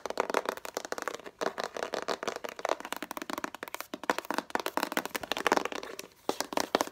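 Long nails rapidly tap and scratch a hollow, clear plastic crayon case about 20 cm long, a transparent box with a Faber-Castell crayon label. The result is a dense, fast stream of short, clicky plastic taps with a hollow midrange tone, mixed with scratchy rustle and almost no low end.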